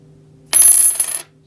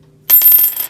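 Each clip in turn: First: Silver coin with a high-pitched ring. Second: Silver coin with a good ring.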